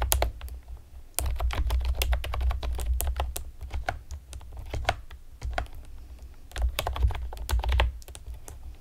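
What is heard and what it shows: Long painted nails and fingertips rapidly tap the hollow keys of a pastel plastic typewriter-style computer keyboard with round retro keycaps. Dense, uneven bursts of sharp, bright clicks ride over a steady low hum, with louder flurries near the start and toward the end.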